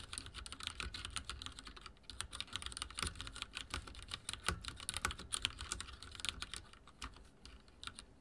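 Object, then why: Mechanical keyboard with plastic keycaps. Fingertips type steadily on a backlit mechanical keyboard with dark plastic keycaps and a silver frame. It produces a rapid, continuous stream of short, bright plastic clicks and clacks, each dying away almost instantly, over a soft low thud from the keys bottoming out.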